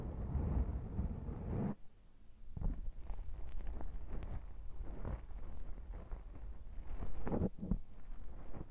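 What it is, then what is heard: Foam microphone windscreen being rubbed. Both hands cup a black foam microphone windscreen and rub it with the fingertips, squeezing and massaging it. This makes a deep, muffled rumbling with scratchy bursts of rubbing that briefly drops quieter before building back up.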